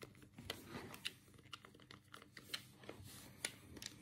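A black, hollow plastic Sega control pad is held in both hands while the thumbs click the D-pad and face buttons. The result is a quiet run of sharp, bright plastic clicks that die away almost instantly, with soft rubbing and shuffling between them.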